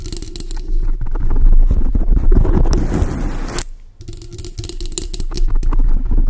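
Long acrylic nails quickly tap and scratch a large dark grey foam windscreen on a microphone, producing deep, boomy thumps and a dense, crackling rustle. The scratching swells into a continuous scrape before a brief near-silence, then the rapid, uneven tapping resumes.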